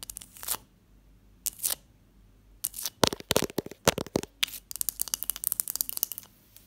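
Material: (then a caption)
Ice. A block of ice, alongside a textured glass dish, is tapped and scratched. A few short, bright scraping swipes with pauses between them build into a quick, uneven run of sharp, crunchy taps and scratches. Each hit is dry and dies away almost instantly.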